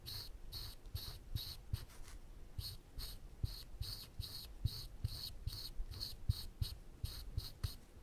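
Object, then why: Thin plywood panel under a pen tip. A woodburning pen's wire tip is scratched in short lines across a flat, thin plywood panel to draw teeth. The result is a steady run of brief, bright scratching strokes, each with a soft low tap as the tip meets the wood, over a quiet background.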